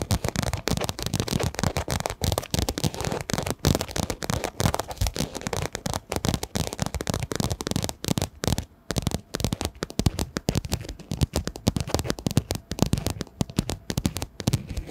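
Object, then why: Quilted fabric zip pouch. Long nails tap and scratch across the surface of a pink quilted fabric zip pouch, a padded pencil case held in both hands. The result is a dense, continuous run of quick, dull thumps mixed with soft papery scratching and crackle, heavy in the low end and dying away almost instantly after each touch.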